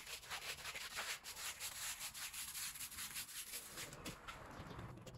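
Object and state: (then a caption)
Wet woven rug. A long-handled green push broom with stiff bristles scrubs a small woven rug soaked with muddy, soapy water. Repeated, uneven back-and-forth strokes make a bright, hissy, wet scratching sound with little low end, each stroke fading quickly.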